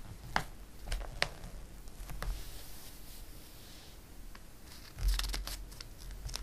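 A hand sweeps and rubs across the glossy page of a paper catalog, making soft papery swishes and crisp ticks. Near the end, a page is turned with a louder crinkling flutter.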